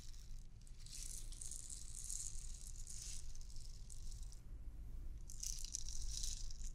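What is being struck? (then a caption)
Clear plastic bauble ornament with beads inside. A transparent, hollow clear plastic bauble ornament with loose white beads inside is held up and shaken, so the beads rattle. Bright, hissy rattling comes in two bursts, one in the first half and one near the end, over a steady low rumble.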